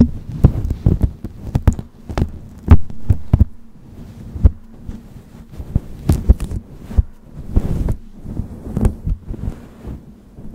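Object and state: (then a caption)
Faux fur microphone windscreen scratched. Long fingernails of one hand pinch, pick and scratch a grey synthetic-fur windscreen on a black microphone at close range. The result is a dense run of muffled low thumps and soft scratchy rustles over a steady low hum, almost all of it deep, with short bright clicks poking through now and then.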